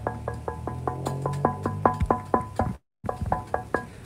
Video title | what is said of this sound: Q+A LIVE 09 - your catamaran sailing questions answered! | sort of sounds a bit metallic when you knock on it